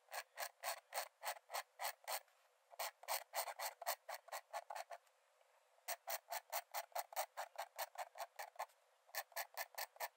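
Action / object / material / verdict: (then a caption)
scrape / paper sketchbook page scratched by a metal nib / paper / none. A metal nib in a wooden dip-pen holder scratches quick strokes onto the cream paper page of an open sketchbook lying flat on a dark desk. About 42 short, dry, bright scratching bursts come in rapid rhythmic runs, with no low end and brief pauses near 2.5 and 5 seconds and a shorter gap near 9 seconds.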